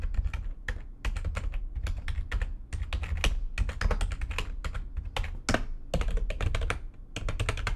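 Fingertips with long nails type fast on the keys of a full-size, low-profile, backlit plastic computer keyboard resting on a desk. Dense bursts of sharp, bright key clicks come over a heavy low thump, with brief pauses between runs.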